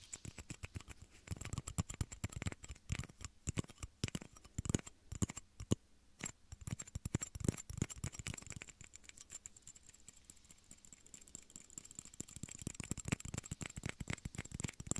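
Two small, hollow, empty clear plastic shot glasses, one held in each hand beside the ears of a binaural microphone, are tapped with fingertips and nails. The result is dense, rapid, dry clicking and tapping with very short ring. A brief quieter pause comes near the six-second mark before the patter resumes.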